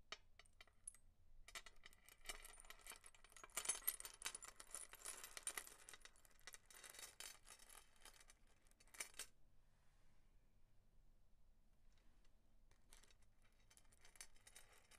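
A layered silver-tone metal chain necklace with many small coin-shaped charms is lifted, laid on a marble counter, then shaken and handled by fingertips and nails. Its charms jingle and clink against each other in bright, dense, quickly fading bursts. The jingling comes loudest in the first nine seconds, goes quiet, and picks up softly again near the end.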